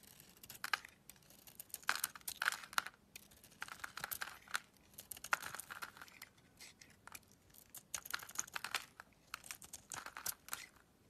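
A solid pink embossed bar soap with a white interior is held in the hand while a gold utility blade scrapes and carves flakes off its face. Dry, crisp scraping and crackling bursts come in quick clusters throughout, bright and papery with almost no low end.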